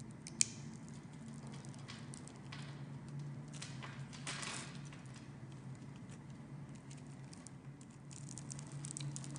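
A metal blade carves small pieces off the scored surface of a palm-sized, blue and white striped solid bar of soap held in the hand. Quiet, crisp scraping and soft crumbly ticks are heard, bright in tone, with one sharp click near the start, over a steady low hum.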